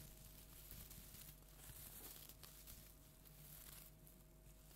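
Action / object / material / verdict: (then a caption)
scrape / plastic tinsel pumpkin decoration / plastic tinsel / none. A large, flat orange plastic tinsel jack-o'-lantern decoration is held upright and scratched with long nails. The result is a soft, steady crinkly rustling with bright, airy hiss over a low background hum.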